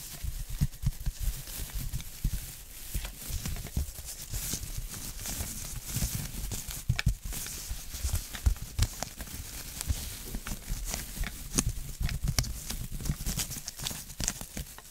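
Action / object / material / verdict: scrape / plastic tinsel pumpkin decoration / plastic tinsel / none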